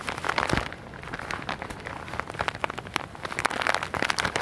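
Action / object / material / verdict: scrape / soft package in plastic wrap / plastic film / none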